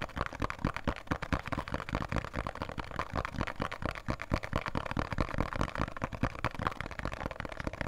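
A small, printed, thin cardboard box of Khadi soap, held in both hands, is tapped and scratched quickly with fingertips and nails. The result is a dense, irregular run of short, dry taps with no ring, mixed with a soft scratching rustle, and most of the energy sits low.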